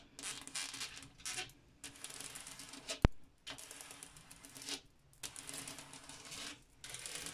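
Continued tapping on a glass mirror produces bursts of quick, crisp taps with a bright, scratchy edge, separated by short quiet pauses. A single sharp, louder click stands out partway through.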